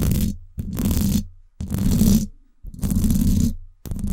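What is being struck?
Woven wire metal microphone grille.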